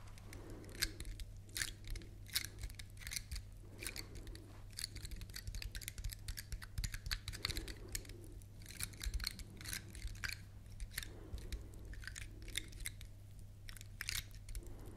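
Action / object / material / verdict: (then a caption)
scrape / large pine cone / wood / none. Long nails scratch and tap the scales of a large, dry, woody pine cone held in both hands. Quick, dry, bright clicks and scrapes come in irregular bursts over a steady low hum.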